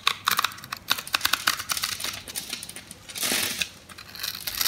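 A yellow, dry, solid bar of soap, pre-scored in a grid and held in the palm, is sliced with a metal blade, releasing small crunchy cubes. Bright, dry crackling clicks and snaps come in quick irregular bursts, with a longer crunching scrape partway through.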